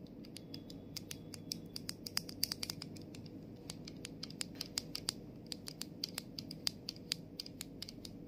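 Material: Plastic.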